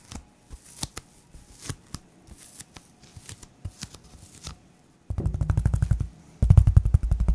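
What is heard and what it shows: A thin white polyethylene foam sheet is held in both hands while fingernails scratch and rub its surface. For the first five seconds, soft, sparse scratches and crinkles come in short bursts. Then comes a louder, rapid run of dense rubbing strokes with a heavy low thump, a brief pause, and a final, even stronger stretch of fast scraping.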